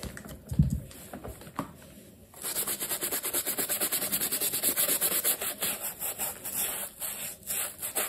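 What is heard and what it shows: A black leather sneaker stuffed with paper is held in hand while its upper is scrubbed with a wooden-handled bristle brush and soapy lather. After a few soft knocks and a quiet pause, the brushing starts at about 2.3 seconds as a steady run of quick, bright, scratchy strokes that continues to the end.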